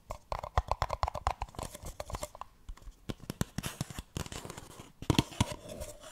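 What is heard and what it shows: Long nails scratch and rub the sides of a single small, hollow, empty printed paper cup held upside down. The result is a rapid run of dry, scratchy taps and rasps with a hollow, low thump in each stroke, plus a faint resonant ring early on. Rough, crinkly rubbing fills the gaps between the taps.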